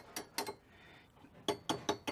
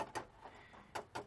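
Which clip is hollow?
The first.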